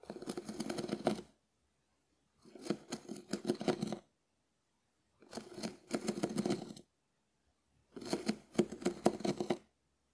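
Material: Dried konjac.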